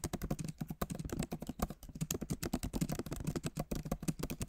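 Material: Plastic.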